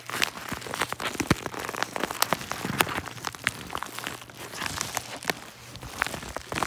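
A hollow yellow kraft-paper padded mailer with contents inside is held in both hands while fingertips squeeze and crinkle it. The result is a dense, continuous crinkling with many sharp, bright crackles and quick snaps that die away instantly over a faint low hum.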